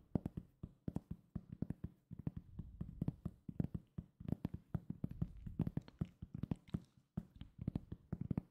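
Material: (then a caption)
Cork. Fingertips tap and scratch a solid, round, flat cork coaster. A rapid, uneven series of soft, dull taps lands with a low thud and dies away almost instantly. Brief scratchy rustles fill the gaps between the taps.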